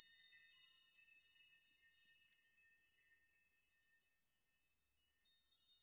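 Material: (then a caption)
Steel. Fingers gently brush many long steel nails hanging in a nail chime, making them jingle and rock against each other. The result is a quiet, continuous shimmer of bright, high metallic tinkling with short ringing tones and almost no low end.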